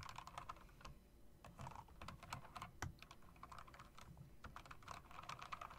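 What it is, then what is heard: Mechanical keyboard being typed on. Fast typing with fingertips and nails on a typewriter-style mechanical keyboard with round plastic keycaps and metal rims. The result is a rapid, uneven stream of short clacks with a crisp midrange click over a low thud, each dying away almost instantly.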